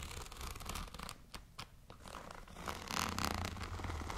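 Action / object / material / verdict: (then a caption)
scrape / plastic zip pouch / plastic / none. Long nails scratch across a tall, transparent holographic plastic zipper pouch with lettering on it and contents inside. The result is rapid, dry, crackly scratching with bright, crinkly plastic texture. It thins to a few sharp ticks midway, then returns denser and louder toward the end.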